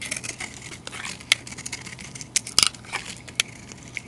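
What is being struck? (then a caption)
Solid bar of soap. A utility knife blade shaves powdery flakes off a solid rectangular bar soap with a white core and a green glitter coating, held in a hand with long dark nails. The sound is a quiet, dry, bright scraping and crinkling, broken by several sharp, crisp clicks as the blade cuts.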